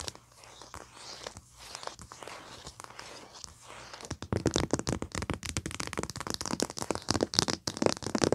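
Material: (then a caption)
Paper, foil. Long painted nails tap and scratch across the printed paper cover of a flat, thin pad of foil paper with colored foil strips, lying on carpet. For the first four seconds the scratching is soft and papery. After that it turns into louder, rapid crinkly tapping with a bright, crackling edge.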